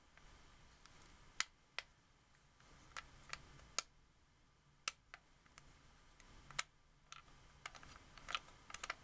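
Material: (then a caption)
Plastic. Fingertips and long nails click and tap the buttons and thumbsticks of a hollow, white hard-plastic wireless Xbox 360 controller. Fifteen quiet, bright, very short clicks and taps come at an uneven pace over a low hiss, each dying away almost at once.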